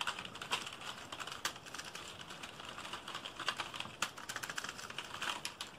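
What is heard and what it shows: A black plastic computer keyboard is held up and tilted while fingertips type rapidly and aggressively on its keys. The result is a dense, continuous stream of short, dry, bright clicks with almost no low end and occasional sharper louder taps.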